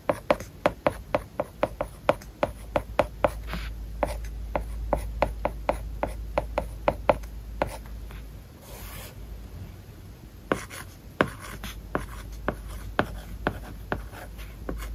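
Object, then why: Plastic stylus on matte plastic screen film over glass. A hard plastic stylus tip writes across an iPad lying flat, its glass screen covered with a matte, paper-like plastic film. The result is a quick run of short, dry ticks and scratchy rubbing strokes with a mid-range tone, with a brief quieter pause near the middle before the writing resumes.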